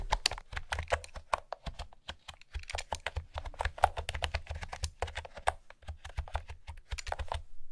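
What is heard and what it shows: Fingertips with long nails type on a light blue plastic retro keyboard with round pastel keycaps and a hollow housing. A steady run of quick, dry key taps clatters with a hollow low thump under each press and short bright clicks on top. Each tap dies away at once with no ring.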